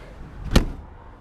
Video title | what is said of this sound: Walk Through 2017 Airstream Flying Cloud 20C Bambi Small Light Weight Travel Trailer | a nice solid sound of the door closing